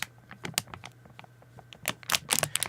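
A sealed foil Doritos bag from a multi-pack is shaken, giving only sharp, bright crinkling bursts with no chips rattling inside. The unopened bag is completely empty, holding nothing but air and not even a crumb.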